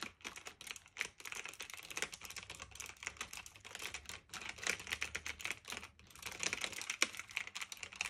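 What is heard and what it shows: Fingertips with medium nails type steadily on a black retro typewriter-style mechanical keyboard of plastic and metal with round keycaps, resting on a fluffy blanket. The result is a quick, continuous stream of bright, crisp clicks with very short decay and little low end, broken by a few brief pauses.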